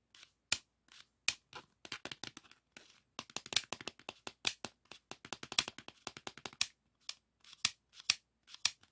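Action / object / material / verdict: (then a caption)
scrape / 3.5-inch plastic floppy disk with sliding shutter / hard plastic / none. A fingertip slides the black shutter of a blue 3.5-inch floppy disk with a hard plastic shell back and forth and rubs it while the disk is held in the hands. It makes a rapid series of sharp, bright plastic clicks and short scrapes with very little low end. Each click dies away almost instantly.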